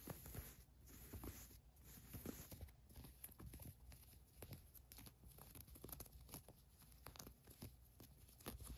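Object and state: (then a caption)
Cotton fleece sweatshirt. Long nails scratch across the printed name on a green cotton fleece sweatshirt, then a hand grips and rubs its ribbed cuff. The result is a steady stream of soft, dry scratching and rustling with many quick, short ticks, mostly low and muffled with some bright edges.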